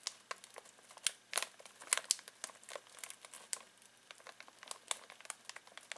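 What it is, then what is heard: Crinkly plastic snack bag. Fingertips scratch and crinkle a full foil-plastic snack bag of pistachios. The result is a quiet, dense stream of sharp, bright crackles and rustles, with irregular louder snaps, all high-pitched with no low end.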